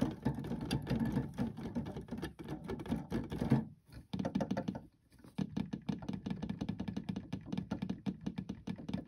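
Fingertips repeatedly press and tap the white and black plastic keys of an electronic keyboard, which has solid keys over a hollow body. A rapid stream of dull, low clacks and taps plays without musical notes, with brief pauses near the middle.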